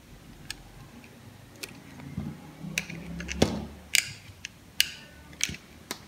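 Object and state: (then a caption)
Dry bar soap being cut. A metal utility blade carves and slices chunks from a solid, pale green bar of dry soap held in the palm. Sharp, bright cutting clicks come at an irregular pace, with a soft, low scraping rasp as the blade drags through the bar midway.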